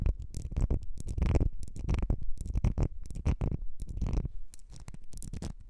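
Long nails scratch along the ridges of a small ribbed glass perfume bottle with a gold cap, held in the hands. It makes a dense run of quick, dry rasping strokes with a heavy low rumble and bright scratchy streaks. The strokes stop dead with no ring, and the sound softens toward the end.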